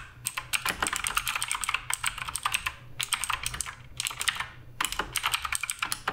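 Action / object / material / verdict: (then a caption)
tap / mechanical keyboard with plastic keycaps / plastic / none. Fingertips type continuously on the plastic keycaps of a black RGB Redragon K588 Broadsword mechanical keyboard. Bright, crisp clicks come in quick bursts separated by brief pauses. Each keystroke dies away almost instantly, with very little low end.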